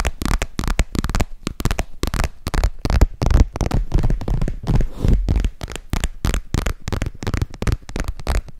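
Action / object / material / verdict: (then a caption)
tap / small leather zip wallet / leather / none. Fingernails tap and scratch a small gold metallic embossed leather MK zip wallet held in both hands. The result is a rapid, irregular run of short, dull, low-pitched taps with very little ring, broken by a brief stretch of softer scratching near the middle.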